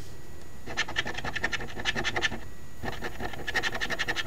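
A coin pinched between the fingers scratches the latex coating off a flat cardstock $5 OLG Ontario Lottery instant scratch ticket, #2465 Very Merry Multiplier. The clip has several bursts of quick, dry scraping strokes with a bright rasp centred near 1.8 kHz, separated by short pauses over a faint steady hiss.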